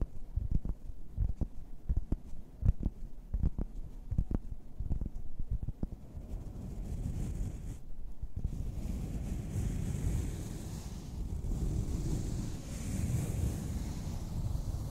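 Long red nails work over a large, soft but solid pink and purple EVA foam flower lying flat. They start with a run of quick, dull, low thuds, then shift to steady, muffled scratching along the foam petals. The scratching pauses briefly and carries on as a deep, rumbling rustle.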